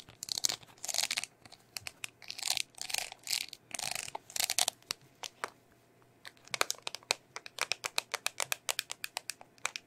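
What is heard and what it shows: Long nails scratch and tap a small, round, hollow red plastic bubble tape container on its lid and sides. The first half is rough, hissy scratching in bursts, followed by a quick run of sharp, bright, clicky taps. The sound is crisp and high with almost no low end or ring.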